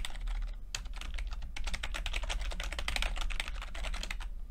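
Fingertips of both hands type continuously on a full-size plastic computer keyboard with red and blue backlit keys and low-profile keycaps. Rapid, bright, crisp key taps overlap in an uneven stream, with a steady low hum underneath throughout.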